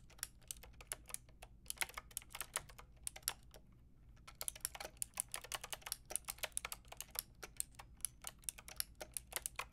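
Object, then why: Plastic mechanical keyboard with round keycaps. Fingertips and long nails type steadily on a full pink, grey and white mechanical keyboard with round plastic keycaps. A quick run of short, bright, clicky key taps with almost no ring, pausing briefly near the middle before resuming, over a faint low background hum.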